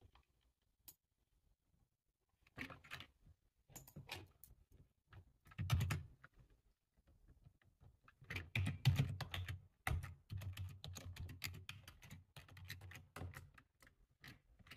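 Rapid two-handed typing with short-nailed fingertips on a black low-profile plastic computer keyboard with a hollow body, resting on a table. Quiet, uneven bursts of clicky key taps come with a low, hollow thud under each press and bright tick on top, broken by brief pauses.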